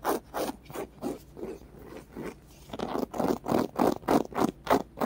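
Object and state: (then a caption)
Foam squishy scratched with fingernails. Fingernails rapidly scratch a small, solid, white polyurethane foam squishy with rainbow stripes and colored dots. The result is a quick, fairly steady run of soft, dry scraping strokes, each a short low-mid rasp with little brightness. The strokes pause briefly in the middle, then resume stronger.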